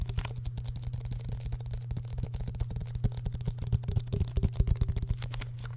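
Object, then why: Plastic bottle. A hand-sized, hollow clear plastic bottle with an orange screw cap is tapped and squeezed with fingertips and nails close to the mic. Rapid, dense clicky taps and crinkles run throughout over a steady low hum, growing a little louder and sharper toward the end.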